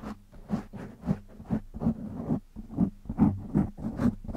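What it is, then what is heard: Foam microphone windscreen being scratched. Fingertips of one hand scratch a black foam windscreen on a microphone, producing a series of irregular, soft scratchy rustles. About eight separate strokes stand out, each a brief burst with a low, muffled thump around 200 Hz and a faint bright hiss that dies away quickly.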